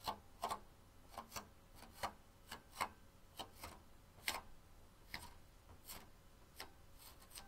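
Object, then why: Onyx stone bowl. Long pink-painted nails tap and scratch along the rim and outer wall of a medium-sized, hollow, empty banded onyx stone bowl resting on a small rug. About fourteen quiet, distinct clicks land at uneven intervals, each short and bright with a brief ring, and soft scratching fills the spaces between them.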